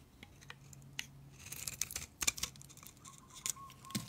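A utility knife blade shaves strips off a solid, dry, pale green bar of soap. It makes a series of crisp, bright scraping and crackling cuts with sharp little snaps that die away almost at once, over a faint low hum.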